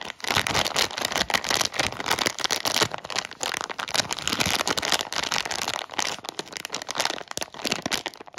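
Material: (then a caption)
Plastic film. A sealed Haribo Worms Fizz plastic bag, clear and printed and full of sugar-coated gummy worms, is held in both hands and squeezed and rubbed with the fingertips. The thin film gives a dense, bright crinkling made of rapid, sharp crackles, with the gummies shifting inside. The sound has almost no low end and stays busy for the whole clip before thinning out near the end.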